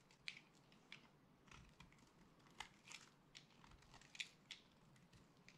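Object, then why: Dry soap bar cut with a blade. A solid yellow and purple dry soap bar, held in the hand, is scraped and sliced with a utility blade, and crunchy soap chips fall onto a pile. Quiet, bright, crisp crunches and scraping crackles come in short, dry bursts with almost no ring.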